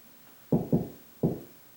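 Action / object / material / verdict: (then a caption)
knock / drywall ceiling / drywall / hollow. Three knocks on a bedroom drywall ceiling, made to locate a joist without a stud finder, give short, low, hollow thuds. The spot sounds hollow, meaning no joist is behind it.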